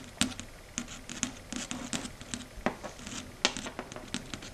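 Long red stiletto nails tap and scratch across the surface of a flat, matte, dark grey chalkboard. The result is a quick, irregular run of sharp, bright clicks with short scraping strokes between them, each dying away almost at once over a faint low hum.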